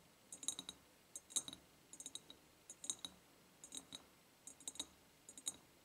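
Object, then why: Ribbed glass jar. Long painted nails tap the side of an empty, medium-sized, ribbed clear glass jar with a white ceramic lid and a ribbon bow. Seven quick bursts of light taps sound as bright, thin clicks with a high glassy tick and almost no low end. Each tap dies away almost instantly.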